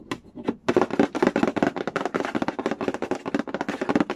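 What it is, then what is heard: Cardboard board game box. Fingernails rub and scratch quickly across the glossy lid of a hollow cardboard Candy Land board game box. The result is a dense run of short, dry scratching taps with a muffled mid-range body and little ring.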